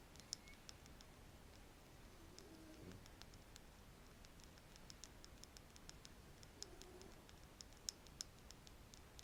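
A wooden stick is scratched and tapped close to the microphone, making light, sharp clicking and ticking taps with a bright edge. The taps are scattered and quiet over a soft, steady low hiss, and each one stops almost instantly.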